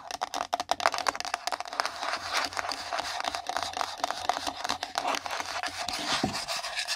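Long nail tips tap fast on a small, empty, pink printed cardboard gift box resting on the microphone. The rapid, dry clicks and rough scratching strokes have a hollow, papery tone centred near 680 Hz with a bright edge. Each tap dies away almost at once.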